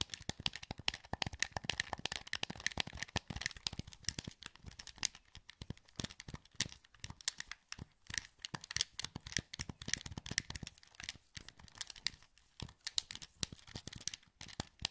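Fingertips click the buttons of a hollow, translucent green plastic PS2 wireless controller held in both hands. A rapid, dense stream of short, dry, bright plastic clicks and light taps continues throughout, each dying away almost instantly.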